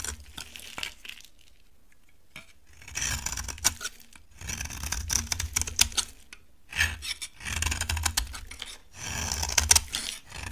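A utility knife blade scrapes a solid, dry, embossed orange bar of soap, making bright, crisp rasping and crackling in bursts separated by short pauses. Each pass layers dense high scratchy texture over a soft low rumble, with sharp little ticks as flakes break away.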